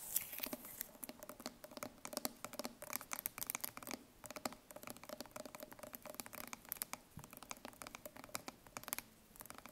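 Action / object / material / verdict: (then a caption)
tap / steel food can / steel / none. Long painted nails tap and scratch the metal end and the label of a green-labelled steel food can held sideways. The result is a quiet, rapid patter of sharp, bright clicks and dry scratching with almost no low end and very short ring.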